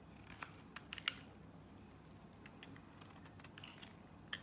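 A box-cutter blade scrapes and slices strips from a solid blue Nivea soap bar, giving quiet, bright scraping with several sharp, short clicks and ticks. These come in a cluster early on and again near the end, over a low, steady background hiss.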